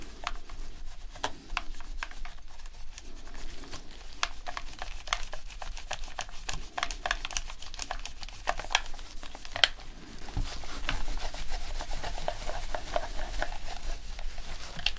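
A dirty white plastic PS4 controller, hand-sized with a hollow shell, is held in gloved hands and rubbed over its grips and body with a microfiber cloth during a deep clean. Steady soft rubbing and scratching carry dense, dry, bright little ticks and clicks over a low rumble, with a brief busier burst near the middle before the wiping settles back into a steady rhythm.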